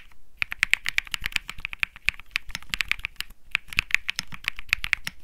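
Fingertips type continuously on a compact 65% mechanical keyboard with beige and grey plastic keycaps. The result is a rapid, irregular stream of sharp, dry clicks and clacks with a bright, high tone centered around 2.3 kHz, each keystroke dying away almost instantly.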